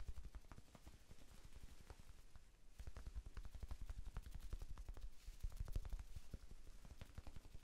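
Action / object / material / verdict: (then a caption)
tap / small foam sponge / foam / none. A small, soft, solid rectangular pink foam sponge, held in one hand, is tapped rapidly with the fingertips of the other hand. The result is a dense, continuous stream of quick, dull, low thuds that die away almost instantly, with a brief lull partway through before the tapping picks up again.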